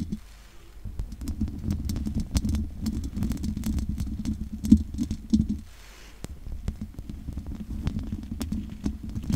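Long nails scratch over the top and sides of the hollow metal mesh grille on a large condenser microphone. The result is a dense, boomy scraping texture centered low, with many quick bright ticks as the nails catch the mesh. A few louder taps stand out just before a brief quieter lull near the middle of the clip.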